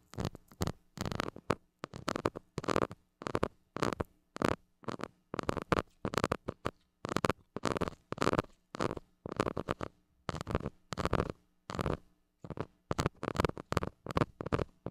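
A white plastic stick scratches the hollow metal mesh grille of a small gold mini microphone in quick, repeated strokes. Each stroke is a short, broadband, rasping burst separated by brief silences. A faint steady low hum runs underneath.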